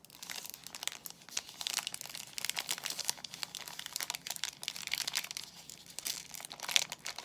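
A soap bar in a glossy white plastic film wrapper is handled and squeezed by fingertips, making the wrapper crinkle. The result is a steady run of bright, crisp crackles with almost no low end, swelling in busier bursts around the middle and near the end.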